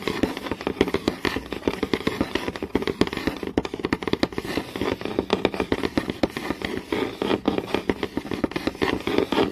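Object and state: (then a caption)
Wooden board, solid. Long nails tap fast and scratch across a flat, solid wooden board with visible grain. The result is a dense stream of quick, dry clicks centered in the mid-range, each dying away almost instantly, with rough scratching in between.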